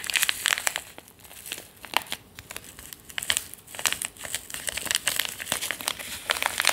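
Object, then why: Foil-lined paper tea sachet. A small, sealed, foil-lined paper tea sachet, thin and flexible, is held between the fingers and crinkled and rubbed with the fingertips. Dense, bright, crisp crinkles come in quick bursts and short rustling stretches, with almost no low end and no ring after each crackle.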